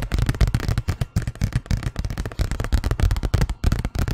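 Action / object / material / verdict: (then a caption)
tap / paper envelope / paper / none. A large, thin white paper envelope that looks empty is held in the hands and tapped and scratched with fingernails. The result is a rapid, uneven series of soft, dull thumps and papery crackles, weighted toward the low end with only a faint bright rustle.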